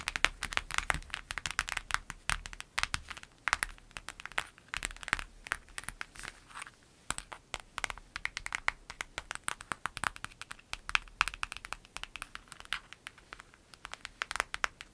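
Long nail tips scratch across a clear lemon-print vinyl zip pencil bag lying flat. The result is a steady stream of dense, crinkly scratches and sharp clicks that stay bright and dry, with almost no low end and no ring after each stroke.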